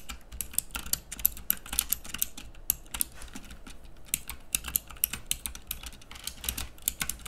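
Fingertips type steadily on the round keycaps of a pink plastic mechanical keyboard, producing a rapid stream of sharp, bright clicky key presses. The clicks are short and dry, with a faint low hum underneath.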